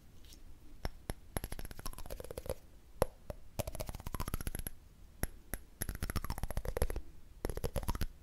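A candle lid is tapped in quick bursts of rapid clicks separated by short pauses, each tap sharp and dry with almost no ring. Behind the taps is a faint hollow tone near 520 Hz that slides up and down between bursts, and a few bright metallic ticks stand out.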